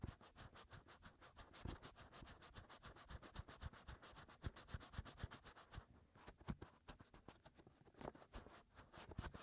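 Fingertips and short nails on both hands scratch and rub inside the ear canals of two white, soft silicone ear-shaped molds on a 3Dio binaural microphone, which is also the device recording the sound. A rapid, steady stream of close, dry scratches with low, thumpy rumbles runs throughout, with a few louder strokes near the end.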